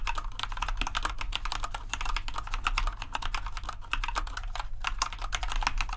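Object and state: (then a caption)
Plastic mechanical keyboard. Fingertips type rapidly on a compact white plastic RGB mechanical keyboard. A dense, steady stream of short, bright clacking keystrokes runs over a constant low hum.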